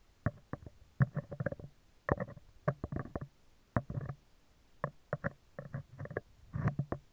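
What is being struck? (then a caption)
Steel wire-mesh microphone grille. Metal tweezers scratch a round, hollow steel wire-mesh microphone grille, first along its right side and then across the top of the mesh. Heard up close, the scratches come as short, dry, rasping bursts in quick clusters. They have a low, hollow body and mid-range grit, with no ringing after each stroke.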